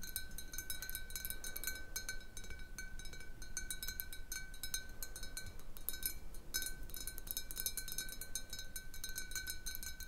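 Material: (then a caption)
Glass. Long painted nails tap quickly and unevenly on a large, hollow clear glass bottle with a little water at the bottom, resting on a wooden table. The taps make bright, glassy clinks with a short ring, over steady faint tones that hum through the whole clip at a soft, even level.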